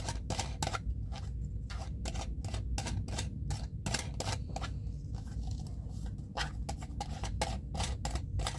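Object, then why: Plastic screw lid of a jar of cotton pads. A small clear plastic jar filled with cotton pads is held in one hand while the fingertips and nails of the other scratch and tap its ridged screw lid. Many short, sharp clicking taps and scratches follow one another quickly over a steady low rumble.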